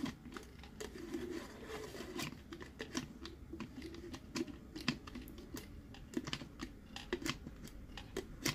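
Fingertips tap quickly and unevenly across the surface of a hollow, hard plastic BB-8 sipper cup, a sphere whose halves are twisted closed along plastic threads. Each tap is a short, sharp, hollow click that dies almost at once, with brighter clicks rising above a steady low rumble. Softer scratchy rubbing fills the gaps between taps.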